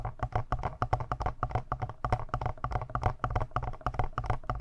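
Fingertips tap and scratch the lower front panel and buttons of a palm-sized, hollow black plastic Tascam portable recorder, leaving the mic capsules untouched. A rapid, uneven run of short, dull taps carries a low thump and a hollow midrange knock, each dying away almost at once, with soft scratching between them.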